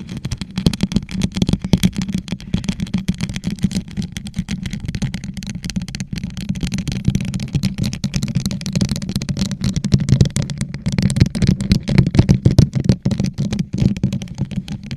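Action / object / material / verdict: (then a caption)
tap / plastic tumbler covered in rhinestones / plastic / none. A hollow gold rhinestone-covered plastic tumbler, turned upside down over a microphone, is scratched and tapped with long acrylic nails. The result is a continuous stream of rapid clicks and scratchy rattling over a deep, boomy hum centered low, around 117 Hz. Each tap dies away almost at once.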